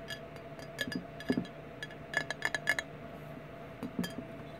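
A clear glass Fireball whisky bottle, partly full of amber liquid, lies on its side on a wooden table while fingernails tap rapidly on the glass and the label. Quick, light clinks ring briefly with a bright glassy tone over a steady low hum, some taps duller where they land on the label.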